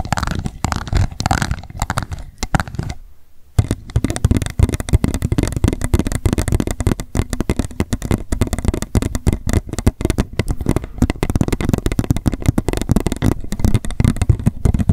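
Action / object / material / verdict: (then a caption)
tap / upside-down plastic cup / plastic / none. An upside-down empty pink plastic cup is tapped rapidly with long nails, first on its base and then along its sides. The result is a dense run of short, dull, low-pitched clicks with almost no ring, broken by a brief pause about three seconds in.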